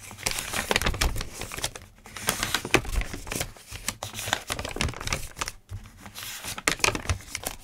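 Fingertips rub and scratch across the pages of a thick open notebook of lined paper and turn them. The result is a dense run of dry, crinkly rustles and short scratchy swipes, bright and papery, with soft low thumps as the pages shift and settle.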